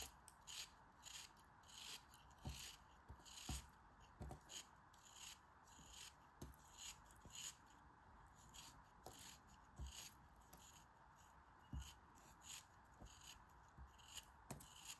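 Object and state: Kinetic sand block scraped with a blade.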